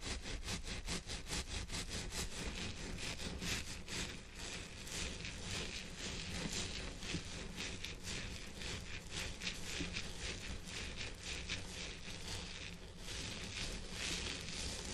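Gloved fingertips on both hands scratch and rub a long, wavy purple synthetic-hair wig on a head form, with the head form hidden underneath. The result is a steady, dense, bright rustling scratch with rapid rhythmic strokes over a constant low rumble, holding an even level throughout.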